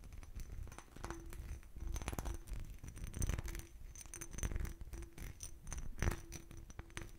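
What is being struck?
Textured glass bottle.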